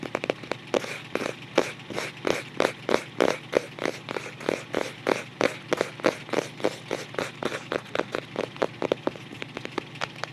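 Fingertips tap and scratch around the printed illustration on the white paper-covered cardboard front cover of a closed photo album. Around forty quick, dry, papery taps land in a steady run, each with a midrange knock and a bright, crackly edge, while faint scratching fills the gaps over a low, steady hum.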